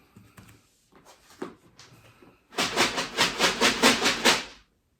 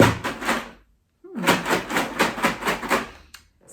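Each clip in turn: First: container of dry dog food, shaken. Second: container of wheat cereal, shaken.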